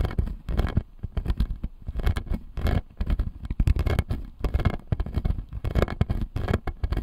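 Fingertips and nails scratch and tap the plastic teeth of the lower jaw of a clear acrylic dental model. The result is a dense run of soft, dull, low clicks and scrapes with almost no ring, rising and falling in loudness throughout.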